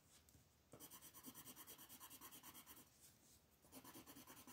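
An orange wooden colored pencil rubs hard across a thin printed paper coloring book page on a wooden table, shading the background while the other hand, with long nails, holds the paper. After a faint start, quick rasping back-and-forth strokes begin, ease into softer rubbing for a moment, then pick up again with a bright, scratchy texture.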